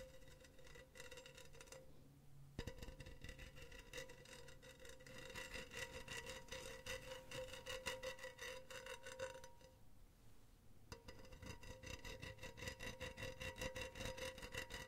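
Long teal nails scratch back and forth over the mesh near the rim of a hollow, empty, silver wire-mesh cylindrical pen holder. The result is a steady, raspy, rhythmic scraping with a faint metallic ring and bright, fizzy texture. It pauses briefly around 2 seconds and again near 10 seconds before resuming.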